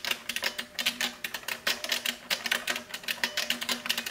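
Long nails and fingertips type rapidly on a large beige plastic mechanical keyboard (Model F style) with shells resting on its front edge. Around 24 bright, clacky keystrokes sound in quick succession, each sharp and dry with almost no ring.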